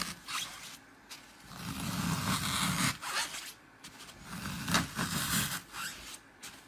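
Fingertips press and poke into a hand-sized square block of dry green floral foam topped with colored glitter stripes, crushing the solid, porous foam. Crunchy, scratchy bursts swell and fade in several uneven waves, with a bright hiss over a low rustling body.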